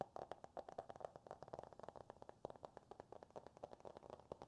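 A closed Green Eggs and Ham hardcover book with a glossy cardboard cover is held upright and tapped and scratched with the fingertips and nails. A quick, uneven run of dry, light taps sits mostly in the midrange with little bass, each dying away almost instantly, alongside faint scratching.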